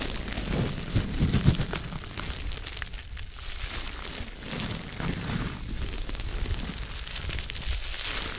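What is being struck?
Soft foam sponge.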